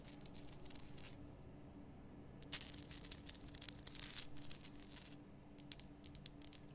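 Long nails scratch and tap the rough top of a large, lit pink Himalayan rock salt lamp of solid salt. Quiet, dry scraping and crinkly tearing sounds are broken by bright, sharp ticks, over a faint low steady hum.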